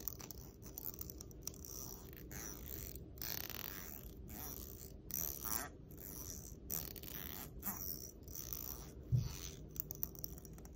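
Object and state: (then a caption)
Plastic comb teeth strummed. Long nails run along the teeth of a long, solid black plastic comb held in one hand, scratching and flicking them in a quick strum. It makes a dense, rapid ratcheting tick with a bright, scratchy edge over a steady low hum, in repeated bursts separated by short pauses.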